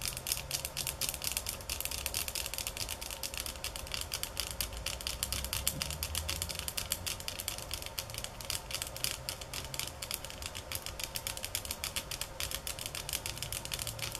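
Fingernails tap on bamboo sticks at changing speeds and intensities, producing a steady stream of sharp, dry clicks. The clicks are bright and short with almost no ring, over a faint low rumble.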